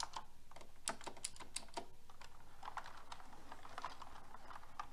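Fingertips and long red nails type on a pink mechanical keyboard with round plastic keycaps. The result is a quiet, uneven stream of quick clicky taps with bright, crisp clacks that die away almost instantly.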